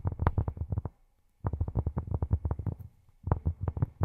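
Fingertips fitted with silicone rubber pads tap quickly on cork in three bursts separated by brief pauses. The taps are soft, dull and low, around 90 Hz, with almost no ring.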